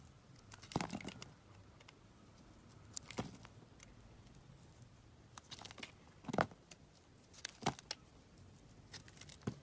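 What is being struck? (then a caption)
Bar of soap cut with a metal blade. A solid blue Cuticura soap bar is held in the hand and shaved and carved with a metal box-cutter blade, with the flakes falling onto the table. Short, crisp scraping and crackling strokes come in scattered bursts over a soft, steady hiss. Each stroke ends quickly with a bright edge.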